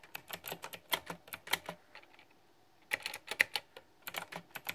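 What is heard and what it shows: Two hands type with their fingertips on a backlit, plastic, typewriter-style retro mechanical keyboard with round keycaps. Quick, bright clicky key taps come in irregular bursts, with a short pause near the middle. Each tap is short and dry, with almost no low end.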